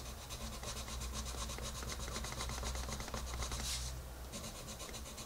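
A colored pencil held in the fingertips is rubbed quickly back and forth to shade a rabbit drawing on a page of a large open paper coloring book. The pencil makes a steady, rhythmic scratching and rubbing, about four strokes per second, with bright, papery texture over a constant low hum. A brief brighter swish stands out near the end.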